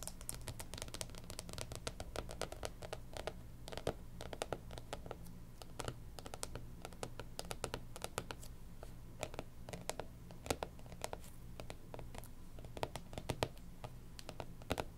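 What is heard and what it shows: Long pink nails tap quickly on the glossy cardboard cover of a closed, striped hardcover planner lying flat. The result is a dense stream of short, crisp clicks with bright tops over a steady low hum.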